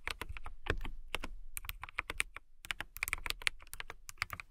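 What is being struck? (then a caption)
Plastic mechanical keyboard. Fast typing with fingertips and long nails on a transparent mechanical keyboard with clear plastic keycaps. It makes a rapid run of short, crisp clicks with bright highs around 2.3 kHz and a soft low thud under each keystroke, with a brief pause midway. Each click stops almost at once.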